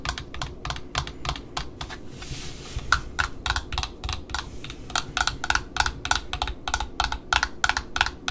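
Long metallic nails tap and scratch the printed cardboard end disc of a small black satin ribbon spool held in the hand. About 32 quick, dry, clicky taps come in an uneven rapid rhythm, with a brief hissy scratch near the two-second mark. Many taps carry a faint hollow tone and die away almost instantly.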